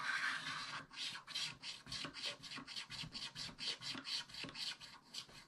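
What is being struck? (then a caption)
Coated scratch-art paper scraped with a wooden stylus. A wooden stylus scrapes vigorous strokes across the upper middle of a black-coated scratch-art paper page in a spiral book. Each stroke makes a bright, raspy scratch, and the strokes come in a quick, rhythmic series of short bursts with almost no low end.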